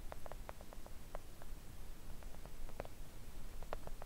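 Long acrylic press-on nails on both hands tap gently on a thin, solid, flat pink silicone nail art mat printed with nail shapes and lying on a table. Quiet, scattered clicks with a mid-range tone fall in an irregular rhythm and stop instantly. Beneath them runs a steady low hum.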